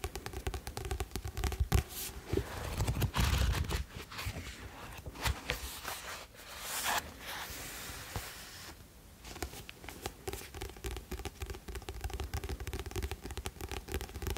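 Fingernails scratch and rub along the glossy card cover and spine of a solid blue "Rêves de Glace" paperback book held in both hands. The result is a dense, irregular stream of dry scratching and rasping strokes, with some louder bursts and soft low thumps early on, easing into lighter rubbing toward the end.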